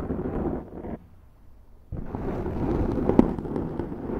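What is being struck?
Foam microphone windscreen.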